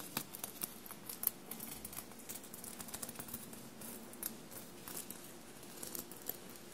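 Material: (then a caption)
Sequins, fabric. Long blue-painted nails tap and scratch a dark blue fabric shirt covered in small metallic silver paillettes, bunched on a table. Quiet, crisp clicks and bright, sharp ticks rise over a soft, continuous scratchy rustle, with each tap dying away almost instantly.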